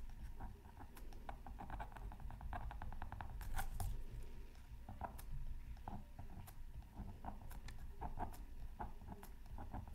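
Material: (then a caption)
Coated paper. A pointed wooden stylus scratches a thin black-coated scratch art card from a Mythical Creatures Super Scratch Art Pad, held down by the other hand. Quick, dry, papery scratch strokes come in short rapid bursts over a steady low background rumble.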